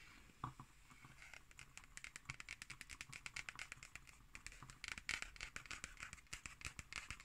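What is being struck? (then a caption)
Cardboard hardcover notebook. Long nails tap and scratch near the lower edge of the cover of a solid, closed black cardboard hardcover notebook. The result is a rapid run of short, dry, bright clicks over a soft scratchy hiss, with very little low end and almost no ring after each tap.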